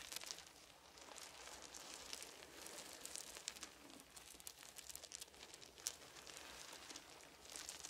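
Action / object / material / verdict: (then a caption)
scrape / small wooden beads on a soft blanket / wood / none. Fingertips of one hand sweep and rake across small, round, solid wooden beads scattered on a fuzzy blanket. A quiet, steady stream of bright clicks, ticks and soft rustling follows, with nearly no low end. A few sharper clicks stand out along the way.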